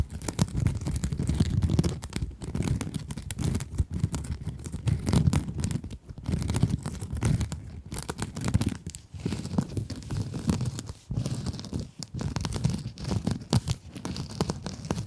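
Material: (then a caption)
Plastic mesh. Long acrylic nails scratch a small pink scrub sponge with glittery mesh, held close. Dense, continuous rasping crackles and scrapes carry a heavy low, rumbly body and short bursts of brighter crinkle, broken by brief pauses, with no speech.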